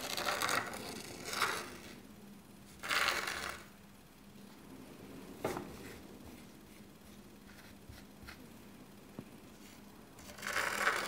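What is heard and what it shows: A small dark rake on a long thin handle is dragged and scraped by hand through fine white sand in a shallow black rectangular tray, a miniature zen garden. Bright, gritty scraping swells in short bursts, with a sharp tick midway and quiet stretches of faint grainy hiss between strokes.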